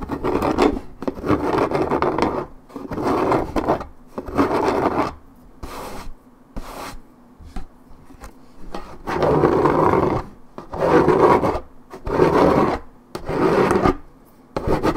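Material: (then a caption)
Paperboard. Long red nails scratch back and forth over the same spot on a hollow 1.75 L Minute Maid orange juice carton made of coated paperboard, wearing through the print. The dry, rasping strokes come in bursts, with mid-range energy and little high end, separated by short quiet gaps.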